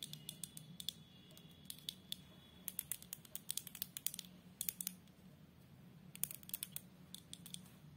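Long acrylic nails tap and scratch on the glass front and along the patterned border of a large framed picture lying flat. Quick bursts of sharp, bright clicks and light scrapes come in uneven clusters, each dying away almost instantly, over a faint steady low hum.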